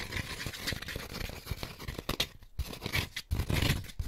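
Fingertips and short nails scratch and rub the ridges and cup tips of an empty white molded paper pulp egg carton piece with hollow cone-shaped cups. The result is a steady, dry, papery scratching and rustling with soft low thumps and bright grainy texture, broken by brief quiet gaps near the middle and toward the end.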